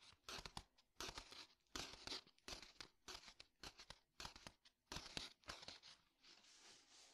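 Fingertips tap and scratch the paper pages of an old book lying open, making an irregular run of quick, dry, crisp taps and rustling scrapes. The sound is bright and papery with no ring, quiet overall, and ends in a softer, steady scratching hiss.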